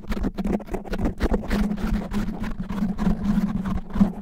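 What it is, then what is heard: Foam microphone windscreen being scratched. Fingernails grip and scratch a black foam microphone windscreen fast and roughly, making dense, crackly rubbing bursts right against the mic. The sound is heavy and muffled in the lows, with a steady low hum underneath and no bright high end.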